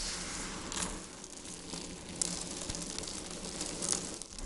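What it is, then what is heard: Dried soap flakes. Dried white soap flakes are squeezed in the palms and sprinkled from the fingers onto a pile on a wooden board. A steady, bright crinkling and crumbling hiss carries throughout, with a few sharper crackles standing out.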